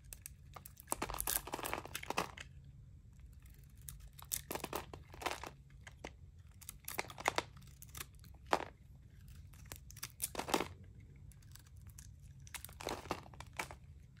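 A metal utility blade scrapes crumbly flakes off a palm-sized, solid white bar of dry Palmolive soap held in the hand, with some red coating left at its edges. Bursts of dry, crisp scraping and crunching crumble with bright, hissy texture, separated by short pauses over a faint low background hum.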